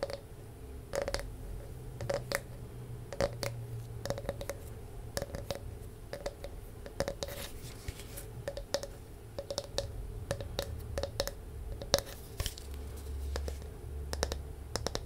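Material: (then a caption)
Wood. A palm-sized, round, solid wooden disc with a ridged, grooved surface is held near the mic and scratched and tapped with long nails. A steady stream of quick, dry clicks and rasping scratches sits over a low rumble. Each tap dies away almost instantly, with a faint tonal edge around 560 Hz.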